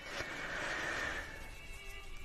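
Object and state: Nothing is struck.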